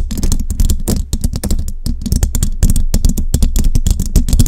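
Fingertips and long jeweled nails tap and scratch a hollow metal mesh microphone head. The result is a rapid, continuous run of sharp clicks and light scratches, each carrying a deep, boomy low thump with bright ticking on top.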